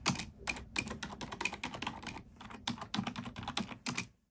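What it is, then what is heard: Plastic computer keyboard. A black plastic computer keyboard is typed on with long nails and fingertips, giving a quick, uneven run of sharp, bright plastic clicks and taps. The keystrokes come in close bursts with short pauses, each dying away almost at once, before the typing trails off at the end.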